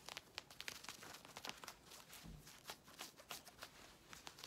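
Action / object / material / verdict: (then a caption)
scrape / knit fabric leggings / knit fabric / none. Long red nails scratch and rub the ribbed knit fabric of black stretchy leggings being worn, which have a ribbed elastic waistband. Quick, irregular, bright scratchy rasps follow one another at a fast pace, each short and dry, with little low end and no ring. It is quiet overall.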